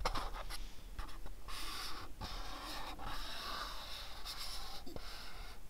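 A house-shaped cardboard gift box is rubbed and scratched with a fingertip and nail, giving soft, dry scraping and rustling in bright, hissy bursts. Brief taps and clicks break up the continuous friction noise.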